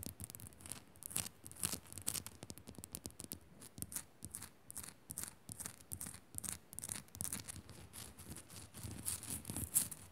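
Long nails scratch and tap fast over a small, solid pink Himalayan rock-salt crystal lamp. The result is a dense run of bright, dry rasps broken by quick, short taps with a low, soft thump beneath, each sound dying away almost at once.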